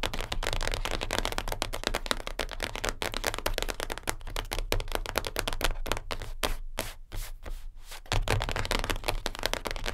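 Long nails of both hands tap fast and scratch across the top of a closed, flat, light-blue cardboard perfume gift box lying on a fur rug. Dense, rapid, crisp clicks and scratchy rasps run almost continuously, with a short, softer stretch around the seven-second mark before the tapping picks back up.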